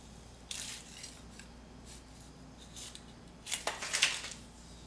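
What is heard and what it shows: A metal putty scraper scrapes a thick layer of peeling paint off a solid concrete wall. Short, bright, hissy scraping strokes stand out over a quiet, steady low hum, with a louder cluster of rasping strokes near the end.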